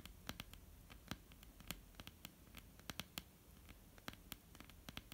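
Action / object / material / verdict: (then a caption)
tap / wooden tabletop / wood / none. Long almond-shaped painted nails of both hands tap across a flat, solid wooden tabletop with visible grain. Quick, irregular clicks sound dry and bright, with very short decay over a quiet, low background hum. A few taps stand out louder than the rest.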